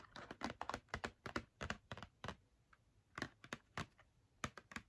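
Long nails tap quickly on the front and top of a small, hollow Crayola cardboard box filled with markers, held up in the hands. About nineteen short, dry, clicky taps come in an uneven, irregular rhythm, clustered in quick bursts with brief pauses between them. The taps are quiet, with little ring after each one.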